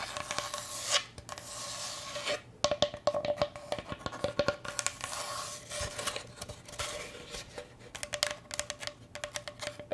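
A wooden cutting board is scratched and tapped, giving a dry wooden rasp broken by many quick, sharp taps with very short decay. The sound is bright and thin with little low end, and a faint steady midrange tone sits underneath throughout.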